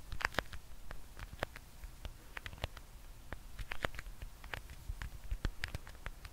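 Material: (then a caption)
Vinyl. A small, solid roll of black vinyl electrical tape is held in one hand close to the mic and tapped and scratched with fingertips and nails. The result is a quick patter of dry, short clicks and taps with brief scratchy brushes, over a low rumbling background.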